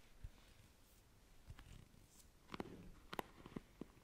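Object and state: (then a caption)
Plastic paddle hairbrush. Long nails scratch and run across the plastic bristles of a black plastic paddle hairbrush held by its handle. Quiet, soft scraping is broken by sharp, dry ticks and flicks that cluster more densely in the second half, each dying away instantly.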